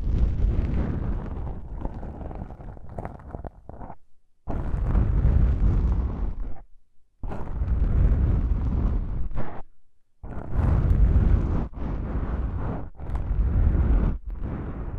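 An index fingertip with a long pink nail presses and taps a pair of small, soft, porous black foam windscreens on a stereo microphone. The result is deep, muffled, booming thumps and rumbling crackle, heavy in the low end. These come in dense bursts broken up by a few brief silences.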